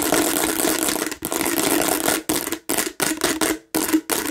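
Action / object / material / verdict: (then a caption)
scrape / textured plastic watermelon-shaped bottle / plastic / none. Long nails scratch rapidly across the raised seed texture of a hollow plastic watermelon bottle, making a dense, bright, rasping scrape with a faint hollow low-mid tone. The scratching runs in several bursts separated by brief silences.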